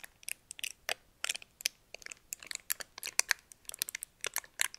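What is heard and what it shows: A small, thin, crumpled red metallic foil wrapper is held in both hands while fingertips and nails crinkle and rub it. The result is a quick, irregular series of sharp, bright crackles and crisp rustles with almost no low end. Each snap dies away instantly.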